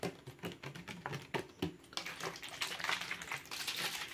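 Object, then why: Plastic water bottle. A plastic water bottle is tapped and crinkled quickly as an ASMR trigger. Sharp, separate taps with a brief low thud come first, then give way to a dense, bright crinkling rustle.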